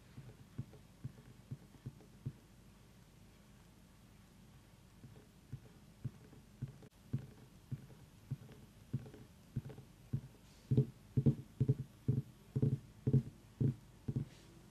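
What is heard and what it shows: Long nails tap sparsely on the ribbed sides of a small whole orange pumpkin resting on a wooden table. The taps are short, dull, low thumps with almost no ring. They start faint and widely spaced, then grow louder and more frequent toward the end.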